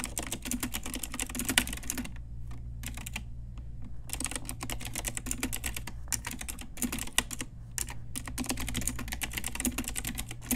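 Rapid typing on an Ajazz pink retro typewriter-style mechanical keyboard with round plastic keycaps, struck with long nails and fingertips. Bright, sharp plastic clicks come in quick bursts, with short pauses around two to four seconds and briefly near six and eight seconds, over a steady low hum.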